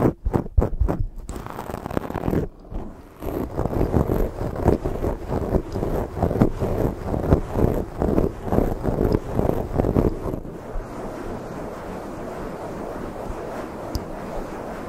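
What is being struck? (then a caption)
Foam microphone windscreen. Hands rub a black foam microphone windscreen while long fake nails scratch across it, giving close, muffled rubbing and scratching. It opens with a run of fast, distinct scratches, then settles into a steady stream of scraping strokes that fades to a softer, even rubbing hiss toward the end, mostly low in tone.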